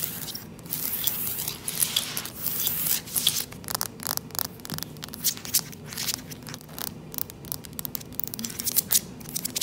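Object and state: Wooden plank floor.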